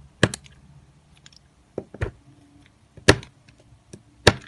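An orange-handled utility knife slices flakes off a solid, cream-colored square Marseille soap bar resting on a granite counter. Five sharp, crisp cutting and scraping snaps ring out at uneven intervals, each a short, dry crack with a bright top and a soft low thud, separated by quiet scraping.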